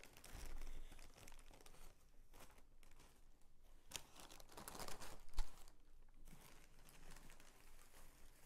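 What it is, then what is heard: Tissue paper sheet. A thin, crinkly mint green tissue paper sheet spread on a bedspread is folded in half by hand. Soft, continuous crinkling and rustling is heard throughout, with a louder crisp crinkle swell around five seconds in before it settles back to quiet rustles.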